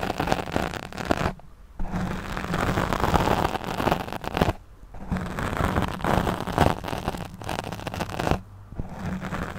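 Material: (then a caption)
Foam. Long nails scratch across a black foam windscreen on a studio microphone while the other hand holds the mic. The result is dense, crackling, muffled scratching with a heavy low rumble, coming in long bursts broken by three brief near-silent pauses.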